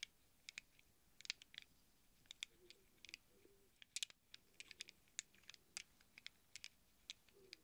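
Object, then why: Small chrome steel sockets. Fingertips stir and rattle a handful of small hollow chrome steel sockets cupped in a palm. Scattered, quiet, bright metallic clicks and ticks come in irregular bursts, each dying away almost instantly over a soft background.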